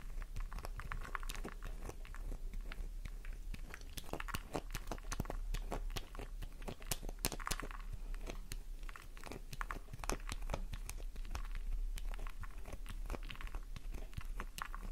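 Long nails scrape and tap a solid, flower-shaped pink soap bar whose surface crumbles into shavings on a purple background. The result is a dense run of dry, crunchy scratches and quick sharp clicks over a steady low hum.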